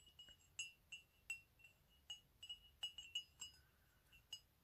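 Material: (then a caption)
Ceramic. A medium white ceramic coffee mug with black "COFFEE" lettering, hollow and apparently empty, is held in the hand and tapped with fingernails and fingertips. Quiet, irregular, bright clinks ring at a pitch of around 2.9 kHz and fade almost instantly, with no low end.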